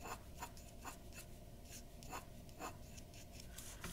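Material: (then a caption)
Paper. A glass dip pen's metal nib scratches dense hatching strokes along the hair edge at the top of a flat white drawing sheet resting on a wooden desk. It makes quiet, repeated bright scratches with short, clipped strokes over a low, steady background hum.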